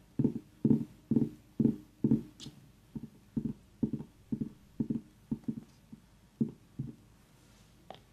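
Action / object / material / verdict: tap / small whole pumpkin / pumpkin rind / none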